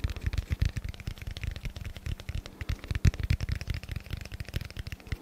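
Fingertips tap and scratch across a hand-sized solid block of dense black foam held close to the mic. A rapid run of soft, dull taps with quick, dry decay is mixed with faint brushing scratches, the sound weighted toward deep low thumps with little high-end brightness.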